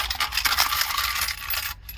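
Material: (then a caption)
Metal. A 2013 Ford Edge radio/CD player unit is shaken by hand, and coins loose inside it rattle and clink with bright, metallic jingles that fade briefly near the end. The coins had shorted the radio and blown its fuse.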